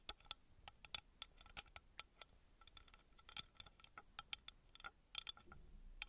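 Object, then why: Small copper-coloured metal pyramid. Long red nails tap a small, engraved, copper-colored metal pyramid that appears hollow. They make a quick, irregular series of about 25 bright, high clinks, each dying away almost instantly.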